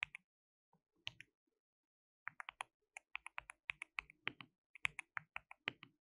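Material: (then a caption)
Plastic. Both hands type continuously with their fingertips on a compact, white-cased mechanical keyboard with a hollow case, white and pink plastic keycaps, and RGB backlighting. About 26 sharp, bright, clacky keystrokes with almost no ring are heard. A few strokes come early, then a short pause, then a faster steady run.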